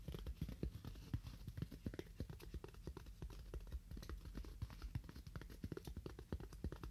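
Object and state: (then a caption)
Styrofoam block tapped. A styrofoam block is tapped with fingernails at a moderate to fast pace. The result is a steady stream of short, dry, hollow taps with a low, muffled thump and almost no ring.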